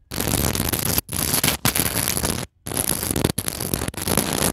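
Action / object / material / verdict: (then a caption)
scrape / decorative pillow covered in glass beads / glass beads / none. A mini microphone's metal mesh grille is scratched and rubbed across a decorative pillow in a store, densely covered in small white and pearl seed beads and clear glass bugle beads. Dense, scratchy, broadband rattling and crackling with bright hiss comes in six loud bursts separated by brief silences.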